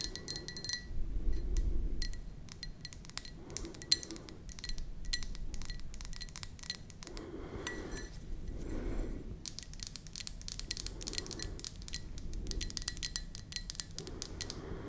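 Long nails tap the outer wall of an empty white ceramic mug with a flower print. Quick, uneven clicks come in bursts, each a short bright chink that dies away almost at once, over a steady low rumble.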